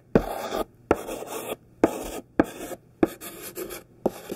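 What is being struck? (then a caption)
Thick chalk stick on a painted chalkboard. A thick stick of pink sidewalk chalk, held in the fingertips, is dragged over a black painted chalkboard to write letters. Six separate scratchy strokes are heard, each opening with a sharp tap and then a gritty, mid-pitched rasp that stops abruptly, with short silences in between.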